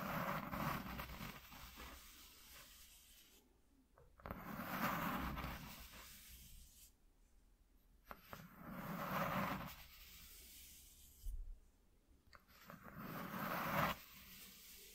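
Fingertips and nails slowly scratch a flat white corrugated cardboard piece lying on a dark cloth. Soft, papery rasping strokes swell and fade in slow waves, separated by quieter pauses with faint brushing and occasional light clicks.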